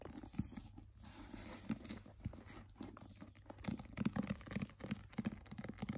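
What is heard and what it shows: A solid paperback novel with a glossy paper cover is held, tapped and scratched with fingernails, and its pages are handled. Quiet, dull, low taps mix with dry scratching and crinkly rustles in an irregular, close-up rhythm.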